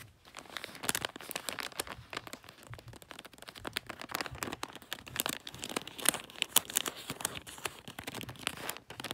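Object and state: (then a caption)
Glossy wrapping paper on a gift. A gift wrapped in glossy, shiny red plastic-like paper rests on a fluffy rug while a hand rubs it and nails scratch across the wrinkled surface. The result is a steady, bright crinkling and crackling with many quick, dense scratches and little low end.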